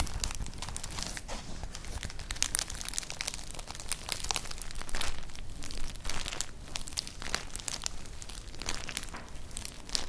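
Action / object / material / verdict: scrape / woven straw clutch bag / straw / none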